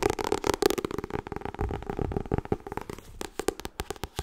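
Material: Paper.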